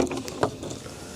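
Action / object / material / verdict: drop / carbonized wooden egg / charred wood / brittle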